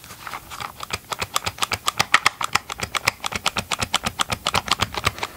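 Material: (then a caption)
Plastic. Gloved fingertips tap and scratch the hollow green and gray plastic body of a chainsaw, held close to the mic. About 34 short, dry, bright clicks come in a quick, slightly uneven patter, with a hollow tone around 1.3 kHz and almost no low end.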